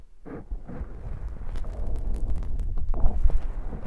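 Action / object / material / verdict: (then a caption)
scrape / foam microphone windscreen / foam / none. Fingers scratch and squish the soft black foam windscreen on a handheld recorder mic. The result is a dense, low, muffled rumble with rough crackling rubs and occasional brief bright scratchy bursts, growing slightly louder toward the end.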